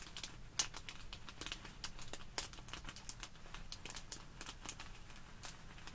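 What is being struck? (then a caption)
Plastic bag filled with polystyrene foam beads. Long nails scratch and pinch a small clear plastic bag full of tiny white polystyrene foam beads resting on a wooden table, while fingers squeeze the beads inside. The result is a quiet, steady crinkling broken by many sharp, bright ticks and clicks over a low background rumble.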